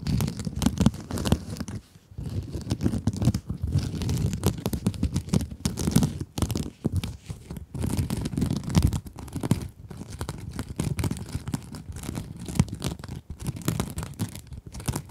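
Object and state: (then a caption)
Mesh scrub sponge being scratched. Long acrylic nails scratch across the glittery mesh surface of a small pink scrub sponge, producing dense, continuous crinkly scraping with a low, muffled body. The scratching comes in steady bursts broken by short pauses, heard around 2, 6, 8, 10 and 13 seconds.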